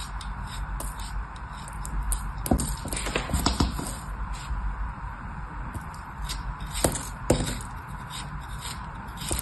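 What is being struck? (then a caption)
Kinetic sand chunk cut with a small metal blade. A small, solid molded chunk of kinetic sand, held between the fingertips of a hand with long orange nails, is sliced and scraped with a small metal knife blade. Soft, gritty scraping runs throughout over a low rumbling background, broken by several sharper crackling cuts with bright, crisp edges that fade almost immediately.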